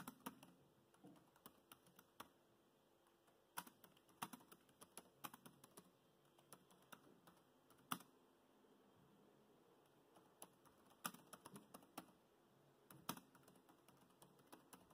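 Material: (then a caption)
Plastic. Fingertips with short nails type quickly on the black plastic chiclet keys of a dark grey laptop with a metal-look deck and solid body. The result is a quiet stream of short, dry, bright clicks in irregular bursts with brief pauses, with a few sharper taps standing out and almost no ring.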